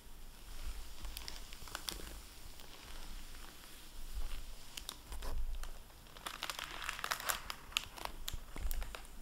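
A hardback library book in a plastic-covered dust jacket rests on a wooden table. Fingertips handle the cover and a dry microfiber cloth rubs it, then the book is opened and the jacket flap crinkles. Quiet, bright plastic crinkles and rustles come in clusters over a low rumble, with a denser burst of crinkling near the end.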